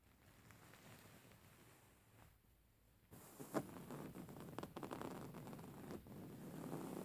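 A grey faux fur stuffed cushion is scratched with medium-length nails and tapped with fingertips. Soft, low scratching and rustling gives way after a short quiet gap to louder, denser scratching with brief tap-like accents.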